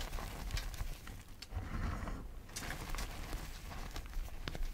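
Both hands press, squeeze and crumble a large mound of mostly crushed pale yellow gym chalk powder with small crumbs on a dark tray. The result is a steady run of soft, muffled crunching and crumbly crackle, heaviest in the low end, with a brief quieter lull in the middle and slightly louder crunches throughout.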